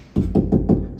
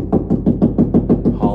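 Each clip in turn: First: Four quick, dull knocks with a firm low thud and almost no ring: drywall backed by a stud. Second: A quick run of low, boomy knocks on drywall, hollow where no stud sits behind the board.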